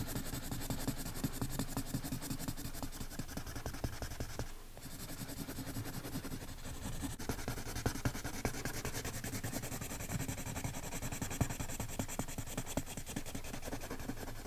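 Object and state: Pencil shading on a paper page.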